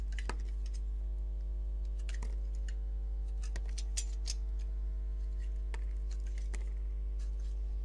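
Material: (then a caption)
Soap. A solid green-and-white striped bar of soap is held in the hand while its edge is shaved with a metal utility-knife blade. Short, crisp scraping strokes with bright, papery edges come at an irregular pace over a steady low hum that runs through the whole clip.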